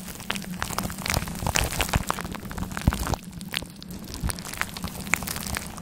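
Long black claw nails scratch a grey faux fur microphone windscreen, making dense, rustling crackles with sharp, bright ticks over a low, muffled rumble. The scratching is busiest in the first three seconds, then turns quieter and sparser, with scattered louder strokes.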